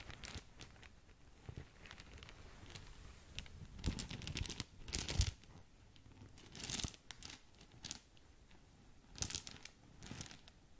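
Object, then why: Filled satin drawstring gift bag. A small green polka-dot satin/organza drawstring gift bag with a ribbon bow, soft and filled, is squeezed by hands while long nails scratch and crinkle the fabric. Quiet, dry crinkling and scratching come in scattered bursts, with brighter, sharper swells of rustle and tearing-like friction. The sound stays close and soft with no ringing tail.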